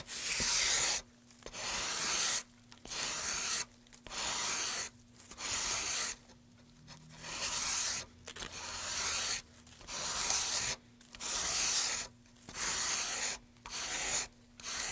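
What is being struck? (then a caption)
Pine wood board. A gloved hand sands the surface of a light, solid carved pine board with folded sandpaper, rubbing back and forth. Twelve bright, hissing, scratchy strokes are heard, each about a second long and separated by short pauses.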